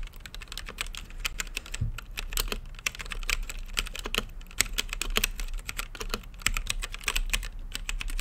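Fingertips type steadily on a full-size mechanical keyboard with Gateron brown switches, plastic keycaps and a clear acrylic RGB-lit case. The result is a fast, irregular stream of short, dry, bright clacks centred around 2 kHz, with a low rumble underneath and no ring after each press.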